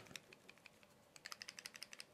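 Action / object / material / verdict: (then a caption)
shake / plastic earbud charging case / plastic / loose. A sturdy, thick-plastic wireless earbud charging case from a Lypertek Soundfree S20 is shaken by hand. It produces a quick series of faint, bright, dry clicks that grow louder and more distinct in the second half. The slight rattle shows that something inside the case is a little loose.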